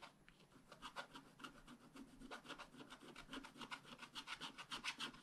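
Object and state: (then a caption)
Scratch-art paper card. A wooden stylus scratches dense, short hatching lines into the coating of a thin black-coated scratch-art card lying flat on a table. The result is a quick, uneven run of soft, dry scratching strokes with a bright, papery rasp and little low end.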